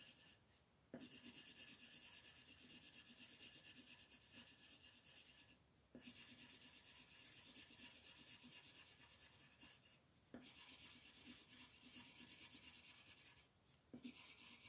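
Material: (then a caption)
Paper. A green wooden colored pencil rubs over a flat white paper coloring page lying on a table, making bright, scratchy shading strokes. The steady, hissy rasp comes in four long bouts separated by brief pauses.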